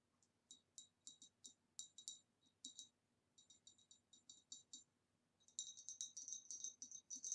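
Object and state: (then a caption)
Glass vase tapped with nails. Long dark nails tap quickly around the rim and the sides of the neck of a tall, hollow, empty green ribbed glass vase, about 25 cm, standing upright on a table. Bright, high, glassy clicks come in irregular runs with short pauses, each dying away almost at once. The taps turn denser and louder toward the end.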